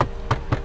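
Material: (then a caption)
Hard plastic. Three short, dull knocks on the hard plastic dashboard trim of a Daihatsu Rocky 1200cc, each a brief low thud that dies away almost at once. The plastic is all hard, the same as on the most expensive variant.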